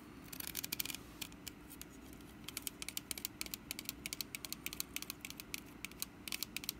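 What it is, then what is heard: Woven wicker basket. Long nails scratch and tap the woven sides of a small, hollow, orange woven wicker pumpkin basket. The result is a quiet run of quick, dry, bright clicks and scratchy rasps, each dying away almost instantly, over a faint low steady hum.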